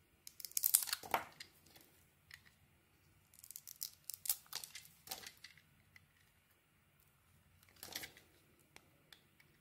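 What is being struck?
Bar of soap with a painted coating.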